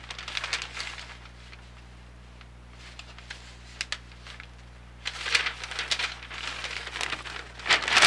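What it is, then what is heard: Newsprint flyer being handled. A large, thin newsprint grocery ad circular is held in both hands while its pages are flipped and bent with the fingertips. Bright crinkling paper rustles come in bursts. A quieter stretch with a few sharp ticks falls in the middle, and dense crinkling returns at the end.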